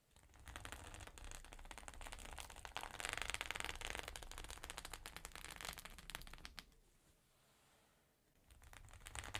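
Long nails tap quickly on the plastic surface of a flat rainbow sequin fabric pouch lying on a table. The clicks are dense, bright, and crackly, mixed with a low rumble. They fade to near silence around eight seconds before picking up again at the end.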